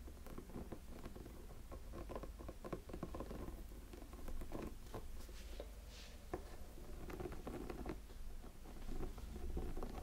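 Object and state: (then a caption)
Silicone light-up snowman figure. Fingertips scratch the textured body of a small, hollow, silicone light-up snowman figure. The result is a quiet, continuous patter of soft, dry scratching and rubbing with little brightness, over a steady low hum.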